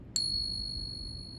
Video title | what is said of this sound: How to Find FAKE Eagles & Morgan Silver Dollars! WATCH OUT!! #SilverStacking #Fake #FakeASEs #Silver | this is what a real silver coin 90% is going to sound like.